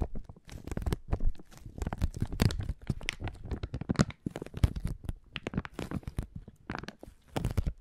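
A small, thin, flexible clear plastic resealable zip bag, apparently empty or nearly empty, is held in both hands and crinkled and rubbed with the fingertips. The result is a continuous run of quick, crackling crinkles and soft tearing-like rustles that swell and fade in short bursts, with a dull, low body under the bright crackle.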